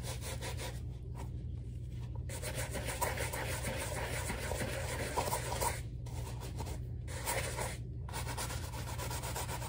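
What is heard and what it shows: A wooden-handled bristle brush scrubs a black rubber slide sandal with foam on the strap in repeated brushing strokes. The scratchy rubbing runs almost continuously, with short pauses between strokes, over a steady low hum.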